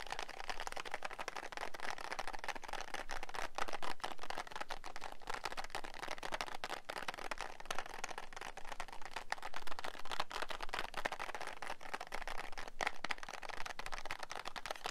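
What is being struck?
Cardboard matchbox.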